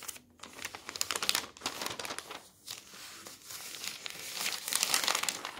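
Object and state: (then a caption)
Newspaper pages. A large newsprint newspaper lies open on a table, and its thin, flexible pages are lifted, turned and rubbed flat with bare fingertips and the palm. Bright, dry crinkling and rustling comes in quick, irregular bursts, with brief quiet gaps between handlings and a fuller stretch of crinkling toward the end.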